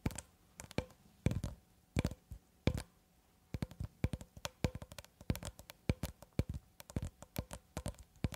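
Long red acrylic nails tap and scratch along a long cylindrical roll of clear plastic cling film, solid wound film, held horizontally in both hands above the mic. Short, dry, dull taps with a low thump, a faint hollow tone and almost no ring come in scattered bursts at first. After a brief pause they turn into a dense, rapid run of clicks and scratches.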